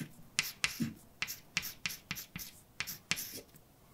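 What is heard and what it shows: A hand writes words with a white chalk stick on a large, flat, dark painted blackboard with a solid surface. The strokes make ten sharp, bright taps and short scratches that end almost instantly, with quiet gaps between them.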